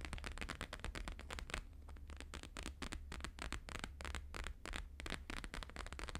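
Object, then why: Plastic-laminated paper sheet. Fingertips and nails of both hands tap fast on a thin, flexible, flat square sheet of plastic-laminated holographic paper lying on a fur rug. The result is a rapid, continuous stream of crisp, crackly taps with bright edges over a steady low hum.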